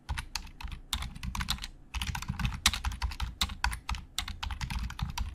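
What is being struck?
Plastic computer keyboard.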